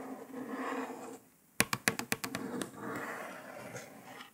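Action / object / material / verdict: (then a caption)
tap / paper sticker on laptop lid / paper / none. Long nails trace softly across a printed paper sticker stuck on a grey laptop lid, making a faint scratchy brushing sound. After a brief quiet pause, the nails tap out a quick run of sharp, bright clicks, then return to soft scratching over the sticker surface.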